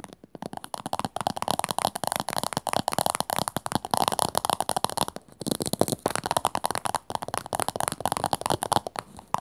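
Long nails rapidly tap and scratch the flat top and rim of a small, hollow teal plastic cylindrical container standing upright. The result is a fast, continuous stream of crisp, dry clicks and scratchy rasps with a hollow mid-range tone and no ring. There is a brief pause around the five-second mark.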